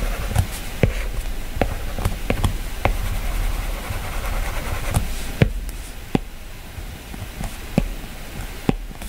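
A plastic-tipped stylus draws strokes across a glass iPad touchscreen and taps the color picker. Short, sharp clicks land at irregular intervals over soft scratchy strokes and a steady low hum. The taps are dry with almost no ring.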